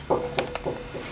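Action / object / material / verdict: knock / wooden violin plate / wood / none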